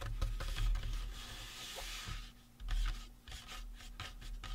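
Fingertips and nails scratch and rub across the cranium and face of a life-size painted resin or plastic Halloween prop skull. The result is dry, raspy scraping with short bright strokes and occasional soft knocks over a low, steady rumble.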